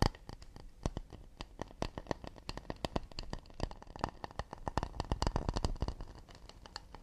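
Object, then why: Acacia wood plate. Fingertips and nails tap and scratch the underside of a round acacia wooden plate shaped like a shallow bowl, held upside down with the underside facing out. A fast, uneven run of short, dry taps with a soft, low wooden body and light bright clicks follows, mixed with faint scratching. Each tap dies away almost instantly.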